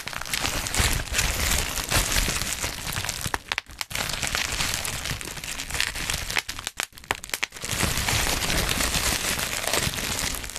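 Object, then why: Plastic bubble wrap. Black plastic bubble wrap is bunched in hands beside the microphone as fingers crinkle it and pop its air bubbles. A dense, bright crackling and crunching runs almost continuously, with brief quiet dips around 3.7 and 6.8 seconds before the crinkling resumes.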